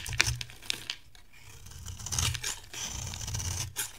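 A metal knife blade carves and scrapes a solid, dry, hand-sized bar of yellow soap, shaving off crumbly pieces. Sharp, crisp cuts and bright, gritty scraping strokes come through, each with a soft, low thud underneath.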